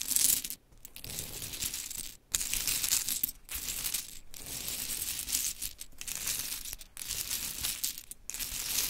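Long chrome nails gather, scratch and shuffle a heap of small pink wooden clothespins piled on glitter fabric. The result is a bright, dense clatter and rustle of the pins knocking together, broken by several brief pauses.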